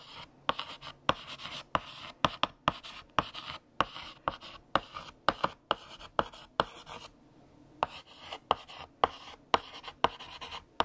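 A stick of blue chalk held in the fingertips scratches and taps across a large, flat, solid black painted chalkboard while writing text. It makes a run of brief, dry, scratchy strokes with about 27 sharp, bright clicks and almost no ring. The strokes pause for a moment near the seventh second, then resume.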